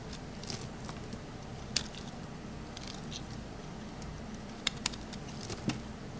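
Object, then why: Bar of soap scraped with a metal blade. A small solid green Palmolive bar soap held in hand is shaved and scraped with a metal utility knife blade, letting dry, crunchy flakes fall. Soft, steady scraping and crackling continue throughout, broken by a few sharp, bright clicks and snaps as pieces break off.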